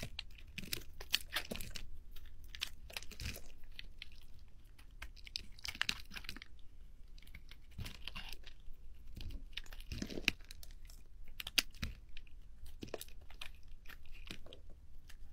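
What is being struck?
Bar of soap.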